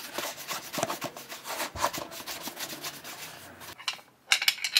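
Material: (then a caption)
Leather. A burgundy shell cordovan leather chukka boot, hollow with a shoe tree inside and held in one hand, has its toe and vamp buffed with a cloth wrapped over the fingertips. The rubbing gives a bright, papery swishing that repeats unevenly, then goes quiet for a moment. It ends in a few sharper, squeakier strokes on the glossy leather.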